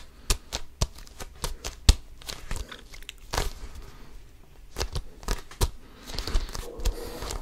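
Fingertips scratch and grip an inflated, hollow basketball with a pebbled composite leather cover, close to the mic. It makes a run of sharp, dry scratchy clicks and crinkly rasps with bright edges, over a soft low thud from the hollow ball. Brief rustling grips fill the gaps between the clicks.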